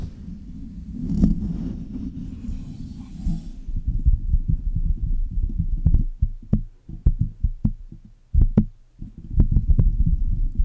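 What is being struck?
Metal microphone body.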